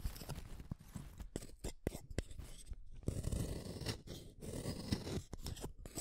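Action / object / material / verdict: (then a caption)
scrape / wooden colored pencil in a hand sharpener / wood / none. A yellow wooden colored pencil is turned in the metal blade of a yellow plastic hand sharpener, shaving it in short, rasping scrapes. The bursts come in quick, uneven bursts, with a longer steady grind in the middle, as wood shavings and lead crumbs fall away.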